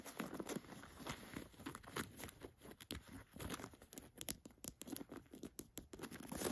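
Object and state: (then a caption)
Cotton canvas jacket pocket. Fingers open and scratch the flap and plastic button of a chest pocket on an olive cotton canvas jacket. The result is a quiet, steady run of dry rustling, crinkly scrapes and quick tapping clicks, with short bright scratches standing out over a soft, low fabric rustle.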